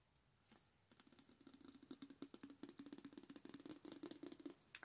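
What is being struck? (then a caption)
Soft plastic squeeze tube of shower wash. A full, hand-sized soft plastic squeeze tube of Cake shower wash is tapped with long acrylic nails while held up. After a quiet start, rapid, irregular, dry clicking taps begin and continue over a faint steady low tone. The taps are short and bright with almost no ring.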